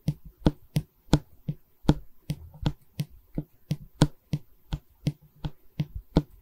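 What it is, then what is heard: Solid pine canvas stretcher bar. A long solid pine stretcher bar from a wooden canvas frame, held in both hands, is tapped and scratched along its face with long red nails. About seventeen short, dry, woody knocks land in a steady rhythm, each with a low body around 150 Hz and a quick, bright click on top. Brief soft scratching fills the gaps between the knocks.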